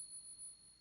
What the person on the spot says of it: You ping it. Hear that ring?